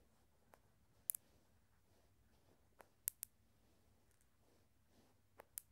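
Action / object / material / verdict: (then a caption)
flick / glass marbles / glass / none. Glass marbles are flicked so they strike each other, producing quiet, sharp, bright glass clicks that come singly and in quick pairs or clusters. Each click dies away almost instantly over a faint low background hiss, with short pauses between groups.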